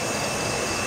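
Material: Nothing is struck.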